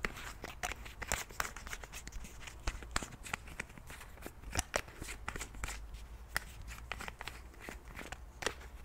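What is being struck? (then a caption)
Plastic pump bottle with cap. Fingers click the pump and cap of a white plastic cleansing milk bottle and tap on the bottle. The result is a rapid, irregular stream of short, dry clicks and taps, each bright and sharp, with no ring, over a faint low rumble.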